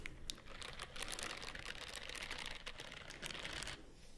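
Long nails scratch down the bristled fingers of a white silicone scrubbing glove held upright. The result is a dense, bright, crackling scratch of rapid tiny clicks, running nearly continuously for about four seconds before thinning out at the end.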